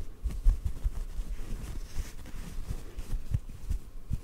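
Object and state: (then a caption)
Cotton ball. A small white cotton ball held in one hand is tapped softly with the fingertips of the other hand. The taps come as a continuous run of very quiet, muffled low thumps with almost no bright content, each dying away almost at once.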